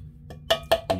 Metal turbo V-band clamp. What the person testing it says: you tap it it should be solid no noise no no play in it at all